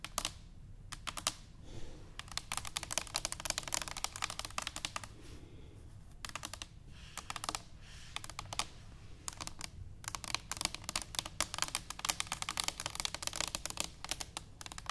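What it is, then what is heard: Stainless steel canister tapped with nails. Long acrylic nails on both hands tap rapidly on a tall, hollow, brushed stainless steel cylindrical canister standing upright on a wooden table. The result is dense flurries of bright, sharp clicks with almost no ring, broken by brief quieter pauses.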